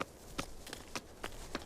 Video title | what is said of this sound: 【期間限定フル公開】ナショナル ジオグラフィック 『ランニング・ワイルド：過酷なミッション』「ナタリー・ポートマンとエスカランテ砂漠へ」｜Disney+ (ディズニープラス） | It has that sort of hollow sound to it